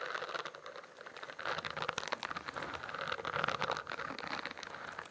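Fingertips and nails tap and scratch the bumpy cover of a spiral notebook with a studded, iridescent plastic cover, held upright. The result is a dense, rain-like patter of light, crisp clicks and scratches centered around 1.4 kHz with some bright edges, each sound dying away instantly. The level swells and dips steadily with almost no low end.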